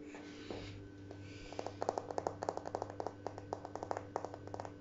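Short fingernails and fingertips tap across large, flat, beige glazed ceramic wall tiles with dark grout lines, a solid surface. After a soft, brushing start, a quick, irregular run of dry, clicky taps follows, each sharp and bright with no ring. A low, steady hum sits underneath throughout.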